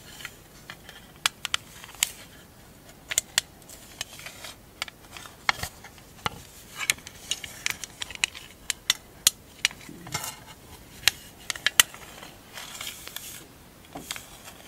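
Long acrylic nails tap and scratch the lid of a small, hollow, rectangular printed metal tin that holds marbles. About thirty sharp, bright clicks ring briefly near 3 kHz, with soft scratching rasps between them and almost no low end.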